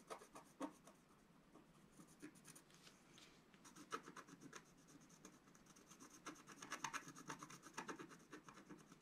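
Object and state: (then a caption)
Scratch art paper being scratched. A wooden stylus scratches across the upper area of a flat, black-coated scratch art paper sheet lying on a table. Quiet, dry rasping strokes come in short bursts with a bright, papery edge, growing busier and slightly louder toward the end.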